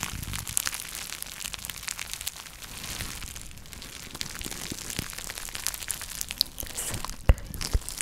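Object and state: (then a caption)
Jute drawstring pouch. A small, soft, flexible jute burlap drawstring pouch is held in both hands close to the mic and scratched and crumpled with long nails. A steady stream of dry, bright crackling, scratching and crinkling rides over a low rumble, with a couple of sharper, louder snaps near the end.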